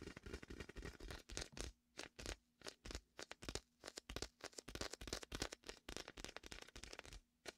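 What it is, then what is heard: Inflatable vinyl beach ball. Fingertips press, peel and rub the sticky vinyl of a large red and white hollow inflated beach ball resting beside the mic. A rapid series of short, bright crackling peels and squeaky scrapes comes in quick bursts with brief gaps between them, over a faint low steady hum.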